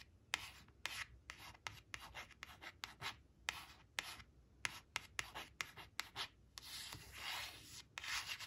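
Long acrylic nails trace and scratch along the printed 4 on a thin coated paper "4 four" flash card resting on woven cloth. Quick, bright scratching strokes repeat with short gaps, and a longer continuous rubbing stretch comes near the end, all mostly high with very little low end.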